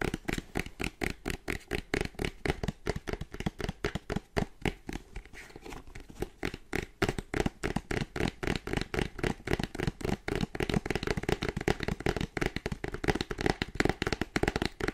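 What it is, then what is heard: Cardboard product box. A small boxed Anker charger, with a printed white cardboard sleeve over a hollow kraft box holding the product, is held in both hands and tapped rapidly with dark-painted fingernails. The result is a dense stream of short, dry clicking taps with a hollow low body, steady apart from a brief softer stretch partway through.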